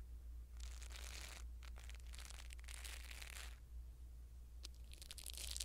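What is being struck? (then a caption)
Foam microphone windscreen. A blue silicone-bristle ear pick brushes a small black foam windscreen on a pin microphone. Bursts of bright, crackling, crinkly scratching come in waves, separated by quieter gaps, over a steady low hum.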